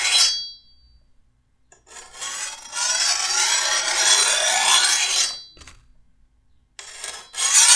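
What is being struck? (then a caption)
Steel machete blade. A metal file is pushed by hand along the edge of a long, solid steel machete blade. It makes bright, gritty scraping rasps with almost no low end. One long, steady stroke sits between shorter passes, separated by quiet gaps.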